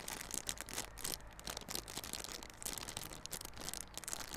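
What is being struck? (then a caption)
Small cardboard box in plastic film wrap. Fingers scratch and crinkle the clear plastic wrap on a small yellow cardboard Realme Buds Classic earphone box held on its side. The result is a quiet, steady stream of bright, crackly rustling with many quick scratchy bursts and a faint low rumble underneath.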